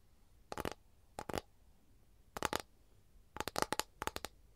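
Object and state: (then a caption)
Capiz shell tray. Long nails scratch and tap on an empty, flat capiz shell tray held at an angle, making dry, crisp clicks in short bursts with quiet gaps between them. Each tap has a bright, brittle edge with a faint tone around 870 Hz and almost no ring.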